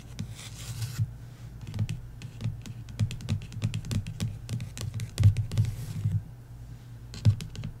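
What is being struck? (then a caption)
Paperback book with card cover. Long nails tap and scrape the matte card cover of a paperback novel, *Love & Other Words*, lying flat. Soft, dull taps with a low thump fall at an irregular pace and die away almost instantly. Bright, scratchy strokes appear at the start and between the taps.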